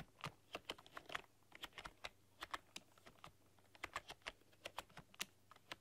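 Long dark-polished nails and fingertips type on a full-size plastic computer keyboard with black keycaps and rainbow RGB backlighting, pressing and clicking the keys. About 28 short, bright clicks and taps come in an uneven stream with very little ring, over a faint steady low hum.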